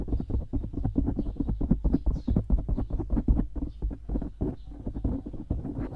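Fingertips scratch quickly over a dark grey foam windscreen on a microphone, making a dense run of soft, muffled scuffs with a deep, boomy low end. The rapid strokes blur into an almost continuous brushing rustle close to the mic.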